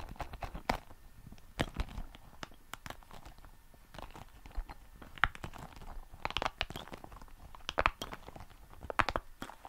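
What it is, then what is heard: Rubber spiky ball. A small red soft rubber spiky ball is squeezed, rolled and scratched with fingers beside the mic. Many short, dry crackling and crunching bursts come in clusters over a faint steady hiss, some sharp and bright with little ring.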